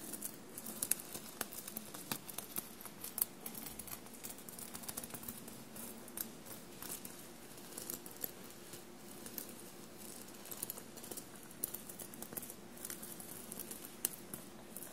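Long blue-painted nails tap the small silver metallic paillettes and studs on a dark navy knit fabric shirt lying soft and bunched on a table. A steady stream of quiet, light clicks and scratchy patter continues throughout, with bright, sharp ticks standing out over a low, soft rustle.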